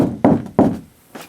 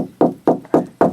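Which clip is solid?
The second.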